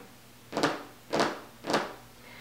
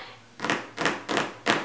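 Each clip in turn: First: soft thick cutting mat, dull tap. Second: hard thin plastic cutting mat.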